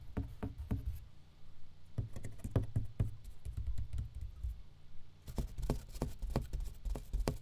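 An empty box is tapped with quick, soft taps in bursts. Each tap gives a dull, hollow low thud centred near 100 Hz with a brief hiss on top, dying out almost at once, with short pauses around the one- and five-second marks.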